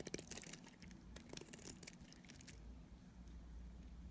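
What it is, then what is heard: Dried soap bar being shaved with a blade. A utility knife blade cuts flakes off a solid, dried purple striped soap bar held in hand. Quiet, crisp scraping and crunchy flaking bursts come in quick succession over the first two and a half seconds, with bright crackly edges. They then fade into a low, steady background rumble.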